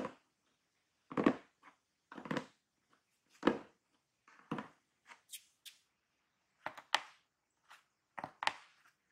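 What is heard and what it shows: Hands hold a large, closed, hollow corrugated cardboard shipping box and tap its sides, then fingertips and nails scratch the top near the taped seam. The taps land as dull, hollow thumps with a short, dry decay, spaced irregularly with quiet gaps. Toward the end they give way to brighter, scratchy bursts with a high, papery edge.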